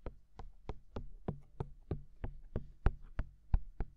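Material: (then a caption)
Silicone. Fingertips of both hands tap the white silicone ears of a binaural microphone, giving 13 soft, dull thumps at a loose, slightly uneven pace. Each tap is a short, deep, muffled knock with a faint bright click at its start, dying away almost instantly against a low, quiet rumble.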